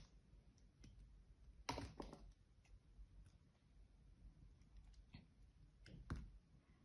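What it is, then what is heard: Bar soap being sliced. A solid, unwrapped piece of blue bar soap is cut into thin curved slices with a small metal blade held between the fingers. Quiet, dry scraping and faint clicks sit over a low background hum, broken by crisp, brighter bursts of slicing near the two-second mark and again near six seconds.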